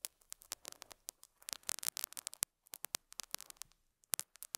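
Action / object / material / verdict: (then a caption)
scrape / felt pad scratched by a metal hook / felt / none. A metal dental scaler hook scratches and picks at a small square beige felt pad on a lapel mic. The result is a quiet, rapid series of sharp, bright, crackly scratches and ticks with almost no low end. Short pauses break up the bursts.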